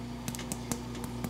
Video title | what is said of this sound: Filled Mantemuerto Recipe: Easy Recipe, Full Tutorial & Small Batch! Pan de Muerto Pan Dulce Recipe | you want to tap it and you hear that it sounds cooked